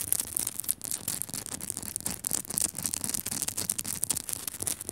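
Long nails scratch and tap quickly across the rough surface of a small, solid pink Himalayan rock-salt crystal lamp. The result is a dense, bright, crackly rasp with short, dry clicks from the taps that stop almost instantly, and very little low end.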